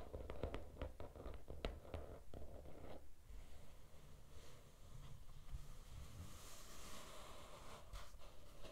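Fingertips and nails scratch across the cover of a small, closed teal glitter hardcover notebook resting on a red cloth. For the first three seconds there are quick, crisp scratches and taps over a low rumble, followed by a softer, steady rasping scrape that grows brighter and hissier toward the end.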